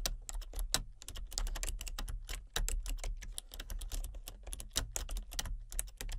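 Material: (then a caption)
Plastic. Fingertips with long painted nails tap steadily on a full-size plastic computer keyboard with color-changing backlit keys and a hollow body. It makes a rapid, uneven stream of short, bright clicks and clacks that stop quickly, over a constant low hum.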